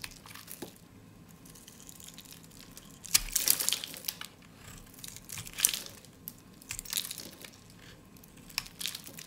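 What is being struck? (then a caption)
Bar of soap shaved with a blade. A solid, dry, peach-colored soap bar held in the hand is shaved with a snap-off utility blade, giving off crumbly shavings. Bright, dry scraping and crunching crackles come in bursts, loudest around three to four seconds in and again near five and a half and seven seconds, over a quiet low background.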